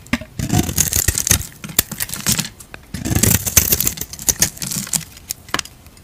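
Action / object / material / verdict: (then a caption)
scrape / bar of soap / soap / none. A utility knife blade scrapes and shaves flakes off the surface of a palm-sized solid purple Lux bar soap held in a hand with long dark nails. Bursts of crisp, bright scraping hiss with a soft low rasp come in two longer passes, broken by short sharp ticks and quick flicks. Each sound stops almost at once, with no ring after it.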